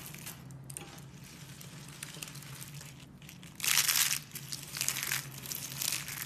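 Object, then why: Dried soap flakes. A heap of pink and white brittle dried soap shavings and flakes is crushed and rubbed between both hands with long nails, giving a bright, dry crackling and crinkling texture over a faint steady low hum. The crunching swells into a louder, denser burst partway through, then continues in softer crackly waves.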